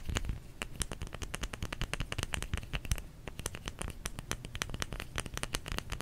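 Fingers tap on a solid bar of soap in a quick, uneven run of many short, dry taps. Each tap is a sharp, bright click over a soft low thump that dies away almost at once, with a faint crackle between taps.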